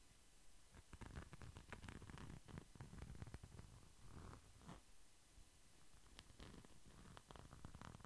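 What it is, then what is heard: Glitter pouch. A small, flat red pouch with a glitter-coated surface is held by its top and scratched along its face with the fingertips. The result is a quiet, close, continuous scratching with a low, rumbling, purr-like texture, broken by many short, crisp scrapes that flash bright and fade almost instantly.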